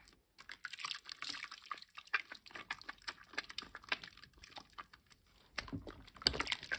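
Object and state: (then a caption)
Bar of household soap being lathered. A green, solid, rectangular bar of household soap is rubbed and gripped in both bare hands over a basin of water. It makes quiet, bright, wet crackling and squelching with rapid short clicks and drips. There is a brief near-silent pause early on and a louder, denser burst of sudsy squishing near the end.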